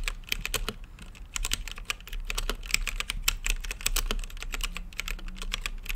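Fingertips type continuously on a plastic mechanical keyboard with plastic keycaps set in a translucent acrylic case. It produces a rapid, uneven stream of short, bright clicks that stop almost instantly, over a steady low hum.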